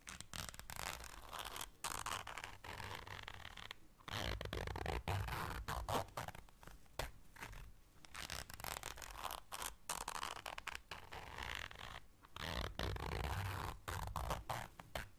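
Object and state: Fabric zipper case.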